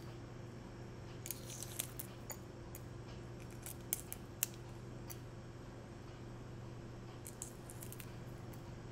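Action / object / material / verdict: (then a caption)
scrape / boiled hen's egg with brown shell / eggshell / none. Fingertips and nails pick at, crack and peel the thin shell off a small whole boiled brown hen's egg held over a small cup, revealing the white egg underneath. Quiet, crisp, irregular clicks and crackles of breaking shell sound over a steady low background hum.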